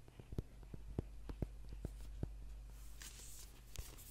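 Fingernails tap and scratch the cover and spine edge of a thick, solid paperback book held in the hands. Sharp, short dry taps sound at an uneven pace, then a soft, bright scratching rasp follows before one last tap. A low, steady hum sits underneath throughout.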